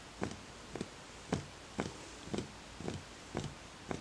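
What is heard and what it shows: Fingertips tap the outer wall of a small, empty, hollow wooden bowl in a steady, unhurried rhythm, some taps landing as quick doubles. Each tap is a soft, hollow, low knock with a faint bright click at the start, and it dies away almost at once against a quiet background.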